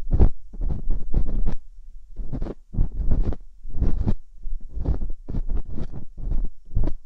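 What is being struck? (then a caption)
Silicone ear mold of a binaural microphone, scraped with a metal pick. Metal dental picks scratch inside the ear canals of silicone ear molds on a binaural microphone. Close, muffled scraping and rubbing comes in irregular bursts with short pauses, heavy with deep, thumping low-end rumble.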